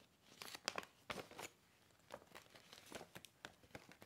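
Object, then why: Paper gift bag. A medium green printed paper gift bag with a golf design and cord handles, hollow and empty, is handled, opened and folded with fingertips and nails. It gives a quick series of sharp, bright crinkles and crackles of paper, with very little low end. Short quiet gaps fall between the bursts.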